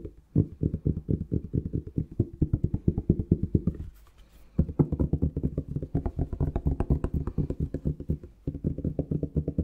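Fingertips and nails rapidly tap and scratch a dark plastic Palmolive shower gel bottle, likely still holding gel. The quick, dull, hollow thuds are low and boomy around 90 Hz and die away almost instantly. They come in steady runs, with a brief quieter scratchy pause near the middle and another short pause near the end.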